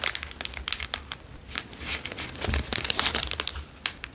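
A plastic Dairy Milk chocolate bar wrapper is twisted, bent and crinkled with fingers. It makes a steady run of sharp, bright crinkles and crackles in quick uneven bursts, with very little low end. Each burst stops almost instantly, with no ring.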